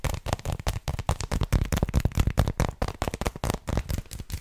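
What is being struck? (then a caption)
Textured dark chocolate bar. Long lilac nails tap and scratch rapidly over a flat, solid, hand-sized dark chocolate bar with raised textured bumps. The result is a quick, irregular run of short, dull, low-heavy clicks and scrapes that die away almost instantly, with little brightness.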